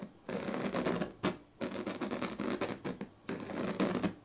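A pink plastic comb's teeth, then its tail, are scratched along the strips of a large, flat woven plastic sleeping mat. The result is bursts of dry, rasping scratches with a rapid ridged texture, separated by short pauses. The sound is mostly low-mid, with some bright edges.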